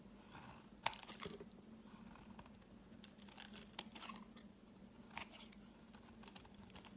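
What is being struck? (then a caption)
Bar soap cut with a knife blade. A solid rectangular lavender bar soap held in the hand has its edge shaved into curls with a snap-off utility knife blade. Quiet, dry scraping and crisp cutting crackles come in irregular bursts, with a few sharper bright snaps over a faint steady low hum.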